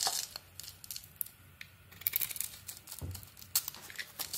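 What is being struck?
Bar of soap scraped with a metal blade.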